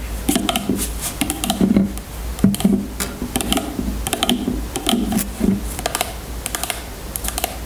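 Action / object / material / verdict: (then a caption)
tap / small plastic bottle of oil / plastic / none. Long natural nails tap and scratch the sides of a small clear plastic bottle of jojoba oil with a white cap, full of yellow oil, standing on a table. A rapid, uneven run of short, dry plastic clicks with faint bright scratchy edges sounds over a steady low hum, each tap fading almost at once.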